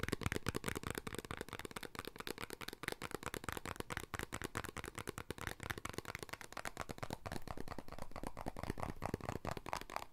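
A small, hollow, colourful printed paperboard snack box is held in both hands and tapped and scratched with the fingertips. Rapid, dry, short taps run continuously alongside scratchy rustling, each hit dying away almost at once.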